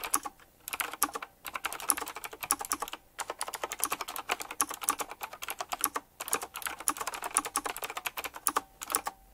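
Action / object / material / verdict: tap / mechanical keyboard with round plastic keycaps in metal rings / plastic / none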